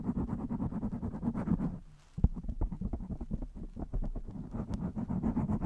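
Long nails scratch the top and sides of a blue foam windscreen on a microphone, with the hands in continuous contact. The result is a dense, muffled, low rumbling scratch made of rapid soft crackles. It drops nearly silent for a moment near the two-second mark, then resumes with a sharp thump.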